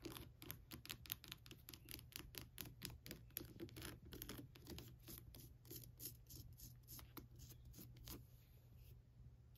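Long pointed nails tap and scratch around the nose, eye sockets and teeth of a hollow, lit skull lamp with a textured, glittery plastic shell. Quick, crisp taps and bright crackling scrapes follow one another steadily over a constant low hum, then thin out near the end.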